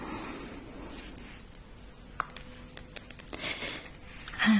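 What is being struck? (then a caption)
Small glass perfume bottle with liquid. A small glass perfume bottle with a gold cap, holding liquid, is cupped in both hands and tapped and clinked with long red painted nails. Quiet soft rustling gives way to a run of sharp, bright glassy ticks that die away quickly, ending in a louder clink.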